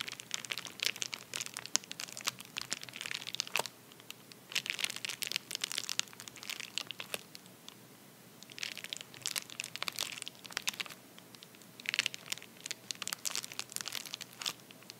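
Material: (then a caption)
Paper. A medium white padded paper bubble mailer, torn at one end and lying flat on a towel, is pressed and rubbed with the palm and fingertips. Dense, bright crinkling and crunching comes in bursts, with brief quieter pauses between handling, and almost no low end.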